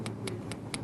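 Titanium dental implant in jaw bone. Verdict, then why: Solid. Titanium dental implants in a reconstructed, bone-grafted upper jaw are tapped with the gums opened, testing whether they have fused with the bone. Four short, bright ticks are heard, each with a solid ring. The implants appear to have integrated.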